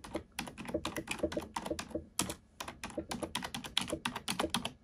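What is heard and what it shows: A black plastic computer keyboard is typed on with fingertips and nails, producing a quick run of sharp, bright clicks and taps. The short, dry key strikes come in uneven bursts with brief pauses between them.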